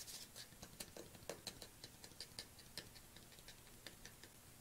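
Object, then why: Plastic tub. Fingernails tap rhythmically on the lid and side of a black plastic collagen supplement tub, which is held upright and then tilted. About nineteen short, crisp, bright clicks with a slight hollow tone are heard at low volume, each dying away almost at once.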